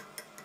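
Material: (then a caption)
Steel. Two light metallic taps, about 0.2 seconds apart, come from the ends of the connecting rods striking the crosshead support bar of a Stuart triple expansion model steam engine. The crankshaft is being turned slowly with an electric drill, and the rods hit the bar because of a clearance problem. Each tap is sharp and high-pitched, with very little ring.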